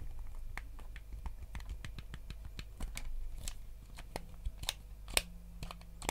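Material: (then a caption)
Plastic. Fingertips tap quickly on the back and face of a white GameCube controller, a hollow plastic shell. The taps are short, dry clicks with almost no ring, irregularly spaced over a steady low hum, with a few louder, brighter ticks near the end.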